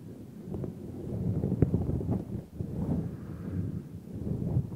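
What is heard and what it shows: Fingertips stroke and rub the long synthetic fur on both sides of a large, hollow, black furry windscreen over a microphone. The result is a deep, muffled rumbling rustle with soft, dull thumps, swelling and fading over the clip with almost nothing bright in it.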